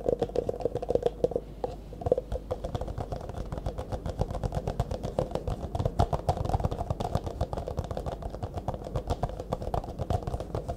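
An empty, hollow, disposable clear plastic cup is held upright in both hands while fingertips and nails tap fast on its sides. The result is a dense, rapid stream of short, dry clicks and hollow taps, with a faint resonant tone around 500 Hz and a thumpy low end. The taps stop almost instantly and continue steadily for the whole clip.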